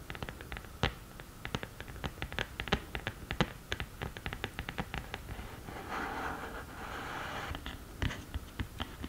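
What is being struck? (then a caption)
Cardboard eyeshadow palette lid. Long nails tap and scratch the textured lid of a black glittery cardboard eyeshadow palette. A rapid string of sharp, dry clicks is broken by a stretch of steadier, hissy scratching in the middle before the tapping resumes.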